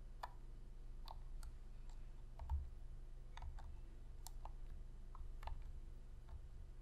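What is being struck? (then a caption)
Plastic game controller. Long fingernails click the d-pad buttons and tap the hollow plastic shell of a black PlayStation controller, making sharp, dry, bright clicks scattered irregularly through the clip. The clicks are quiet and brief, over a steady low hum.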